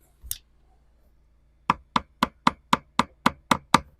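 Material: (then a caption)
Fiberglass. A screwdriver handle taps the fiberglass deck of a 1969 Iroquois mk2 boat over its balsa core, at a soft spot where the core is soaked with water. One isolated tap is followed by nine quick, evenly spaced taps, each a short, dry knock with almost no ring. Because the core is full of water, the spot sounds only slightly different from solid deck rather than hollow.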